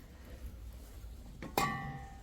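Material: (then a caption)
Glass. A thin, lightweight vase made from recycled materials, about 30 cm tall, is tapped twice: a soft tap followed by a sharper clink. The clink rings briefly at around 1.1 kHz over a low background hum and gives a hollow sound.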